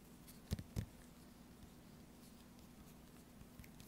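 Long orange nails tap the top corner, near the hang hole, of a small sealed, full laminated foil-plastic tuna pouch. Two short, dull taps stand out near the start, followed by a few much fainter ticks over a quiet low hum.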